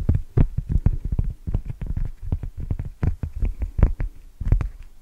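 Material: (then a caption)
Cork. A single large, thin, solid round cork coaster is held up in front of a microphone and tapped and scratched across its surface with long teal-painted nails. The result is a rapid, irregular run of soft, dull, deep thumps with very short decay, mixed with faint scratchy brushing between the taps.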